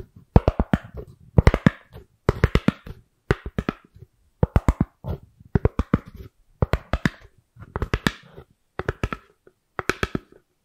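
Long acrylic nails tap and scratch a thin, hollow-backed white round styrofoam lid or plate held close to the microphone. The sound is quick clusters of dry, hollow taps with a deep, boomy thump and a little scratchy texture. Each cluster is separated by a brief silence, and the sound dies away almost instantly after each hit.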